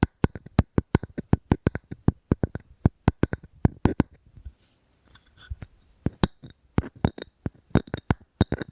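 Fingers tap and scratch on a wooden object close to the microphone. The result is a quick run of dry, short taps with a low body and bright clicks, broken by a brief softer scratching stretch near the middle before the tapping resumes.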